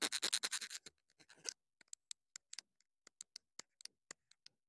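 Long pointed nails scratch and tap the top and sides of a small black plastic wireless mini microphone with a hollow body. A quick run of dense, bright scratching gives way to sparse, sharp ticking clicks. Each click is brief and high with almost no ring.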